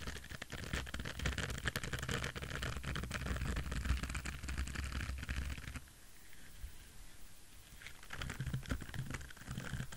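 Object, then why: Silicone scrubber pad with short bristles. A palm-sized orange silicone scrubber pad with short bristles, soft, flexible and solid, is scratched and tapped with fingertips and nails. Dense, irregular scratchy tapping with a low thump underneath fills the first six seconds. It drops to a quieter rustle, then the scratching picks up again near the end.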